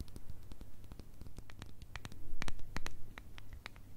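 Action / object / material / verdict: tap / small glass jar with lid / glass / none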